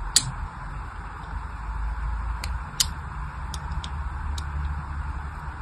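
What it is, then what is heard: Bar of soap being scored with a blade. A small blade scores dense grid lines into the surface of a solid, hand-sized pink bar of soap held in one hand. Short, bright scratching clicks come at irregular intervals over a steady low background hum. Each click is crisp and dies away almost instantly.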